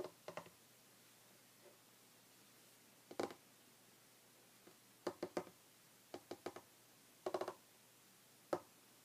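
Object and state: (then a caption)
Wooden table, solid. Short red fingernails tap and lightly scratch a solid, flat, light wooden tabletop, making about fourteen quiet, dry clicks in scattered clusters with quiet gaps between. Each tap is sharp and dies out almost instantly, over a faint steady low hum.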